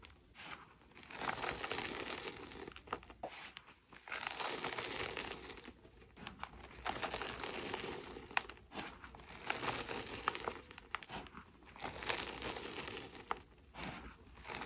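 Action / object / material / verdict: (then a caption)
scrape / packed powdered chalk dome / chalk / none. Chalk-covered hands crush a packed powdered chalk dome into crumbly chunks and dust. Soft, dry crunching and crinkling come in waves of bright, grainy crackle with brief sharp snaps, easing off between squeezes.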